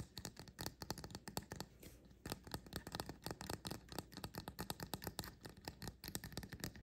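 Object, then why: Painted resin mushroom figurine. Fingertips and nails tap and scratch quickly on both caps of a small, upright, painted resin mushroom fairy house figurine. The result is a dense run of short, dry clicks with brief scratchy scrapes, easing into a softer, quieter stretch around the two-second mark before the rapid tapping picks back up. A faint steady low hum sits underneath throughout.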